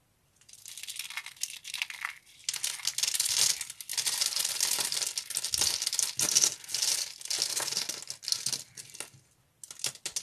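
Small, solid, carved curly blocks of dry yellow soap are crushed and crumbled between fingertips into flakes. The result is a dense run of bright, dry, crinkly crunching and crackling with almost nothing in the low end, and a brief pause near the end before a few final crunches.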